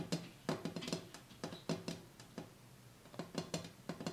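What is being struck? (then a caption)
Glass coffee table top. Tapping on the glass top of a cleared coffee table, with everything taken off it, gives irregular clusters of short, quick taps. Each tap has a low, hollow body near 160 Hz, a bright click on top, and almost no ring.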